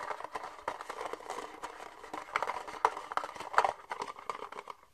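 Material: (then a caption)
Plastic. An empty red disposable plastic party cup, hollow with thin ribbed walls, is held upright in both hands and tapped and scratched with fingernails on its outer wall. The result is a quick, dense run of light, dry clicks and scratchy rustles centered around 1 kHz with almost no low end, each tap dying away almost instantly.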